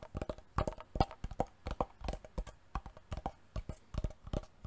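A wooden box is tapped repeatedly for ASMR. Quick, uneven taps land in short clusters, each one a brief, dry knock with a hollow mid-range tone that dies away almost at once.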